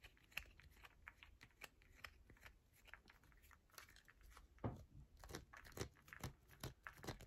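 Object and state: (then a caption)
Bar of soap scratched with nails. A solid yellow bar of soap is held in both hands while long nails scratch along its edges and face. Quick, irregular scratches and light taps come in soft, dry bursts with a bright, crinkly texture and no ring, and a few firmer strokes stand out toward the end.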